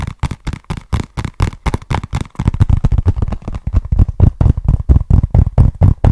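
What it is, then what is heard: Cardboard box. Fingertips and nails tap and scratch a small, flat, hollow brown cardboard box with a barcode label, held in both hands. The result is a quick, uneven run of dull, dry, low thuds with almost no ring. The tapping grows louder and denser after the first couple of seconds.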